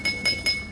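A drinking glass filled a quarter of the way with water is tapped with a spoon three times as the third glass in a pitch comparison. Each tap gives a bright, high clink with a clear ringing tone and a short decay.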